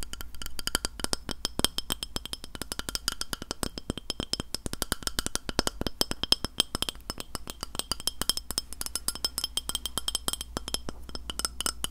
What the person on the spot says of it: 03:23 Tapping a Glass Plate